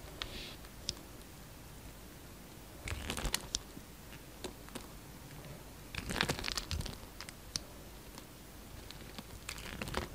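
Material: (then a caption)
Soap. A solid pink soap bar, pre-scored into small cubes and held in the hand, has crumbly cubes broken off with a utility knife. Dry, crunchy scraping and crinkling crackles come in uneven bursts, with denser clusters near 3, 6 and 10 seconds. Brief bright clicks stand out against a quiet hiss.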